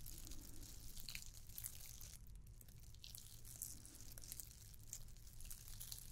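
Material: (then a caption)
Plastic. A red and white glittered plastic candy cane ornament is scratched with long nails. The result is a quiet, continuous run of fine, crinkly scratches with bright, gritty high texture over a steady low rumble.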